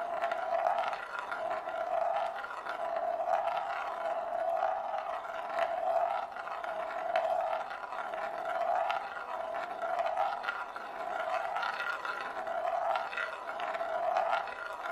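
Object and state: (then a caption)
Marble rolling on a bamboo plate. A single glass marble rolls in circles on the inner surface of a large, shallow, hollow bamboo plate that is empty and held in both hands. It makes a continuous hollow rumble with a steady tone near 700 Hz. The rumble swells and fades with each lap in a loose repeating rhythm.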